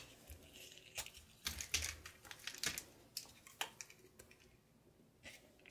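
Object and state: Soap bar being carved.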